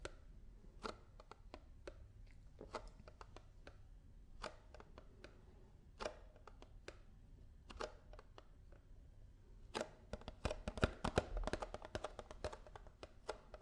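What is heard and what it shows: A paper almond milk carton is tapped with fingers and nails. The taps are quick, dry and short, irregular and scattered at first, then denser and faster toward the end. A low hum sits underneath throughout.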